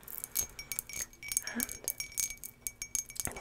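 An everyday patterned turquoise drinking glass is tapped repeatedly, giving a quick series of bright, high glassy clinks. Each tap is short and dies away almost at once.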